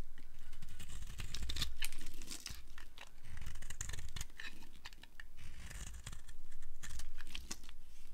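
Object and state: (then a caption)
Dry bar of soap being carved. A solid orange and white striped dry bar of soap, held in the hand, is carved with a flat cutter blade, producing crisp shaving scrapes. The dense, crackly scraping and crumbling comes in swelling waves over a low rumble, with brief bright snaps as the blade bites through.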